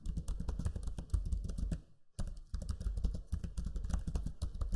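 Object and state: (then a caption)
Plastic laptop keyboard being typed on. Fingertips type quickly on the low-profile plastic keys of a backlit black Lenovo Legion 5 laptop keyboard. The result is a steady stream of soft, muted clicks with a deep, thumpy low end. There is a brief pause just before the two-second mark, then the typing resumes at the same pace.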